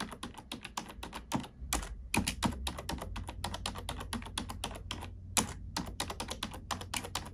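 A black plastic computer keyboard is typed on with long nails and fingertips in a steady run of quick, bright clicks and soft clacks. Each keystroke is short and dry with almost no ring, over a faint low hum.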